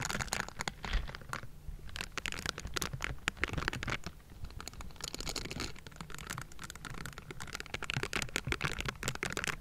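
A metal mesh microphone grille is scratched and brushed with the bristled fingers of pink silicone scrubbing gloves. Dense, rapid scratchy strokes crackle across the grille with bright, crisp edges over a low rumble. A brief softer lull comes near the middle before the scratching picks back up.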